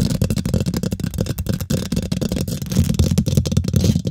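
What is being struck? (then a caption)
Woven metal mesh microphone grille. Long nails and fingertips of both hands quickly scratch and tap the domed, hollow woven metal mesh grille of a large silver condenser microphone. The result is a dense, continuous stream of fast scratching and tapping, dominated by close, boomy low thumps with faint bright clicks that die away almost instantly.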